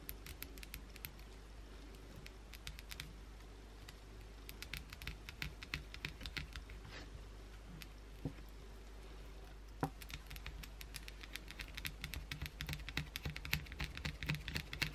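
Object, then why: Solid soap bar scratched with fingernails. Long pointed blue acrylic nails aggressively scratch and dig into the surface of an unwrapped, palm-sized solid white Dove soap bar held in one hand. Quiet, irregular, crisp scratchy clicks and taps come in quick bursts over a steady low hum, growing denser and sharper toward the end.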